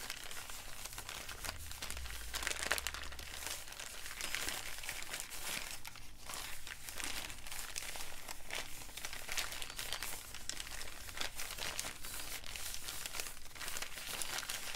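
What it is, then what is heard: Paper bag being crumpled. An empty brown kraft paper bag is crumpled, folded and crinkled in both hands. The result is a steady stream of dense, bright crackling and rustling with a few sharper crunches, over a low hum that is strongest in the first few seconds.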